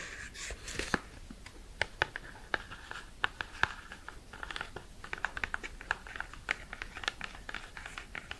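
A tall, hollow, cream-colored cardboard skincare box is held in hand and tapped and scratched with long red acrylic nails. The result is a run of sharp, dry clicks with very short decay, mixed with soft papery scratching and crinkling that centers around 1–2 kHz with bright edges.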